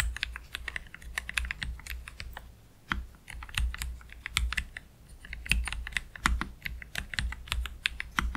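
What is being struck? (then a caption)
Low-profile mechanical keyboard, plastic keycaps. Fingertips of both hands type slowly on a black Keychron K3 Pro low-profile mechanical keyboard with plastic keycaps and Gateron Red low-profile switches, resting on a desk mat. The result is a steady stream of short, crisp clicks and clacks with bright edges and quick decay, over a faint constant low hum.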